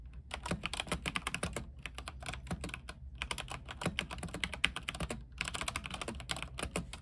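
A compact mechanical keyboard with white plastic keycaps, a silver case and RGB lighting is typed on with the fingertips of both hands. It gives a steady stream of quick, bright clacks with a soft low thud under each keystroke, and every key dies away almost instantly. The typing pauses briefly a few times before picking back up.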